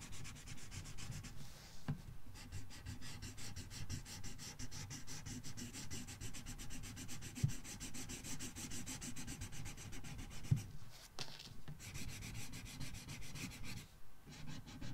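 A red felt-tip marker colors a thin paper coloring book page in scratchy rubbing strokes. A quiet, steady, rapid scratching and rubbing runs throughout, heaviest in the low end with a faint bright hiss. It breaks off in short gaps near 2, 11 and 14.5 seconds, with a couple of sharper taps along the way.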